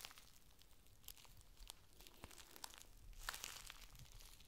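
A folded, thin clear plastic rain cover packet is held in the hands and unfolded, with fingers bending and crinkling the sheet. Quiet, dense crinkling and rustling is broken by sharp, bright crackles and snaps over a soft low rumble, growing busier near the end.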